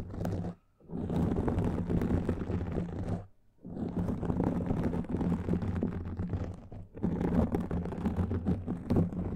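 Fingertips and short nails of both hands scratch a rounded, hollow-backed black foam windscreen covering a microphone. It makes a dense, low, rumbling crackle with a gritty rustle on top. The scratching comes in three long stretches broken by brief near-silent pauses.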